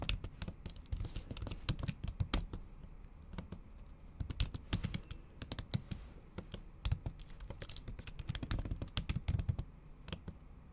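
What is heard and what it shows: Long acrylic nails tap the keys of a MacBook keyboard under a thin pink plastic or silicone cover while typing. The result is a steady, irregular run of soft, dull low thumps, each carrying a sharp, bright click that dies away almost at once.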